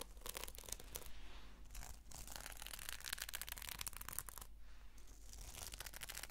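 Long fingernails slowly scratch the sequin cover of a red sequin notebook held close up, producing a quiet, dense, bright crackling and rasping. Brief pauses break up the scratching, and a steady low hum sits underneath.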